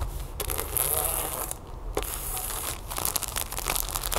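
Long nails tap and scratch across a flat, sealed plastic package holding a folded yellow plastic tablecover, lying on a wooden table. Bright, crinkly rustling and quick taps run almost continuously over a steady low rumble, with brief quieter gaps.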